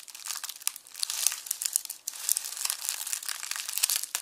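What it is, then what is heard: Dry onion skins crushed in a mesh bag. Both hands press flat on a red plastic mesh bag of dry, papery onion skins resting on a bamboo board, crushing it with fingertips and palms. The result is a dense, continuous, bright crinkling and crackling with many sharp, dry snaps and almost no low end. Each crackle dies away at once.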